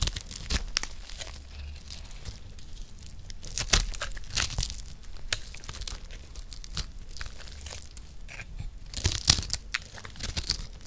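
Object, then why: Dry soap bar scraped with a metal blade. A round, solid, palm-sized yellow bar of dry soap is held in one hand while a metal blade scores and scrapes it and cuts out cubes. Crisp, dry scraping and crunchy, tearing bursts come in quick, irregular strokes, with bright edges and a faint low rumble underneath.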